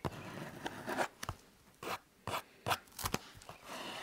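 Fingers rub and scratch the surface of a blue EVA foam exercise roller held horizontally against the chest. A long, steady rasping rub gives way to short, separate bursts of dry, scratchy, bright noise with quiet gaps between them. Each scrape stops sharply with almost no ring.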